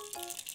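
A homemade sticker from a Japanese toy kit, made of loose beads sealed inside a clear plastic dome under a character sheet, is shaken so the beads rattle inside. About four quick, bright clicking rattles sit over a steady hiss with faint mid tones underneath.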